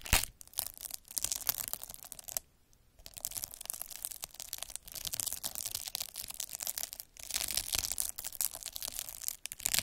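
A metal-needle derma roller, held by the fingertips, is rolled across a clear plastic bubble wrap sheet with air-filled bubbles, scratching it. The result is a dense, bright, crackling scratch with rapid tearing and crinkling textures. There is a short silent pause near the start of the third second and a brief dip just after seven seconds.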